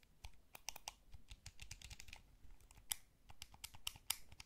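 A small, hollow, blue wired plastic PlayStation-style gamepad is held in both hands while fingertips and thumbs press and tap its buttons and sticks. The result is a quiet, uneven run of sharp, dry, bright plastic clicks and taps that stop instantly with no ring, over a faint low rumble.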